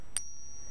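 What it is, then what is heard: Genuine silver coin, bell-like ring. A slightly bigger, thicker silver coin is pinged once, giving a short, sharp strike followed by a high, sustained bell-like ring that lasts through the clip. The clear, long ring marks it as real silver.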